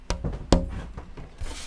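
An unbraced wooden acoustic guitar soundboard is tap-tested by hand while held, giving two main soft, low, bassy thumps around 180 Hz with a short woody ring, plus fainter taps between them. The top sounds loose and free-vibrating, unhindered by bracing.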